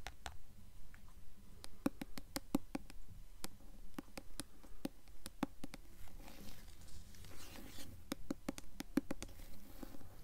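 Long acrylic nails tap and scratch the glossy paper dust jacket on the front cover of a solid hardcover copy of The Golden Compass, held upright. Sharp, dry clicks come in quick, loosely spaced runs with a soft scratchy rustle between them. Each tap dies away almost instantly.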